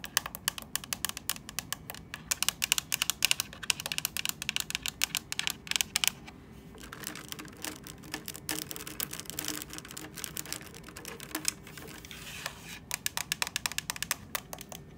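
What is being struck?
Hard plastic handheld device casing.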